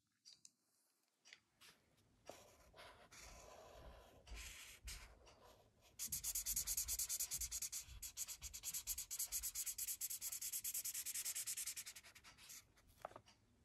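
A thick blue felt-tip marker is rubbed and stroked across a large white sketch pad lying flat on a wooden desk, coloring in shapes among red, yellow and blue marker drawings. Soft, scattered scratches give way to a steady, fast run of bright, hissy strokes on the paper from about six to twelve seconds, then taper off into a few light touches.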